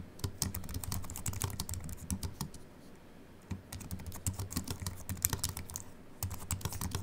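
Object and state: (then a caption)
Aluminium and plastic keyboard being typed on. Fingertips of both hands type fast on a compact Apple keyboard with a silver aluminium body and white plastic keys, resting on a wooden desk. Quick, short clicks with low thuds and bright high edges come in dense bursts, with a brief lull partway through before the typing resumes.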